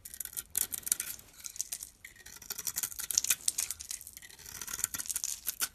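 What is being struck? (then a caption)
Bar of soap cut with a blade. A utility knife blade scrapes and cuts layers off a solid pink glitter soap bar with a white interior, held in the palm. The sound is a dense run of dry, bright scraping and crackling shaves with almost no low end. The strokes come in quick, overlapping bursts throughout.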